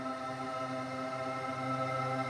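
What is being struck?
Nothing is struck.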